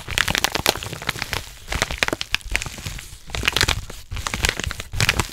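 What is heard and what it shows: A yellow kraft padded paper mailer with a label, hollow with contents inside, is squeezed and crinkled by hands and nails close to the microphone. Dense, bright crinkling and crackling comes in rapid bursts of sharp, dry snaps with very short decay. Brief quieter pauses separate the bursts.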